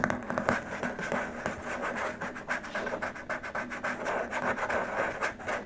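Short nails rub and scratch across the surface of a long, flat, white rigid plastic keyboard wrist rest. The result is a dense, uneven stream of dry, scratchy strokes with quick decays, over a faint steady low tone.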